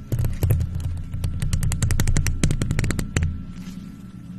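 Long nails in faux leather gloves rapidly tap and scratch the silver, hollow metal mesh grille of a microphone. Rapid, irregular sharp clicks ride over a deep, throbbing low boom, then stop just after three seconds, leaving a faint, soft hiss.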